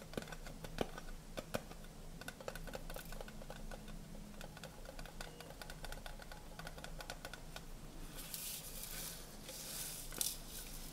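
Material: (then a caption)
Tinplate. A horizontal stack of hollow, colorful tinplate tea canisters, held in both hands, is tapped rapidly with fingernails, producing a steady patter of short, dry clicks with a faint metallic ring around 465 Hz. A low, steady hum runs underneath, and bright hissy washes rise briefly near the end, with one sharper tap standing out just after ten seconds.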